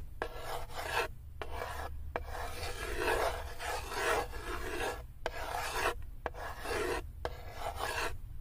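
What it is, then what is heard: Small wooden block scraped in a wooden tray. Fingers with long acrylic nails grip a small solid wood cube and rub and scratch it along the floor and side of a light, unfinished wooden tray with cut-out handles. Dry, rasping wooden scrapes come in repeated strokes separated by short pauses, with a low rumble underneath.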